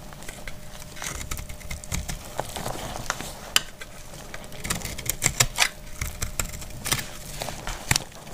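A solid, dry, translucent glycerin soap bar is held in the palm and cut with a metal utility blade, scraping off crumbly shavings. A quick, uneven series of short, crisp scrapes and sharp clicks sounds bright and dry, with each stroke dying away almost instantly over a faint low rumble.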